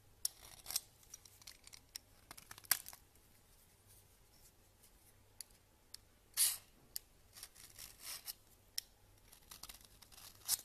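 A red peeler blade scrapes the same solid bar of soap, grating shreds that pile up on the counter. The clip has quiet, bright, crisp scraping strokes in an irregular series, with short dry rasps and a few longer, louder scrapes toward the middle and end. A faint low hum sits underneath.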